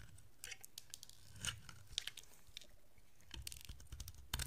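A utility-knife blade scrapes curls off a solid rectangular yellow dry bar of soap with a blue coating. Quiet, crisp scraping and crackling bursts come in short clusters over a low, steady background rumble, each with a brief bright edge that stops almost instantly.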